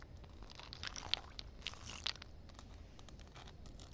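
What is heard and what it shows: Long dark-red acrylic nails tap and scratch a flat, solid outdoor concrete slab covered with a thin film of water. Crisp, bright clicks and crackly scraping come at an uneven pace over a low background rumble, each tap dying away instantly with no ring.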